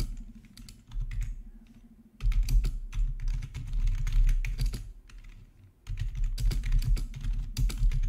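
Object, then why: Plastic membrane keyboard. Both hands type with their fingertips on a plastic RGB membrane keyboard with black backlit plastic keycaps resting on a marble surface. Quick, irregular key taps come in bursts, with soft low thumps under bright clicks. The typing swells loud around the two-second mark, eases briefly, then picks up again.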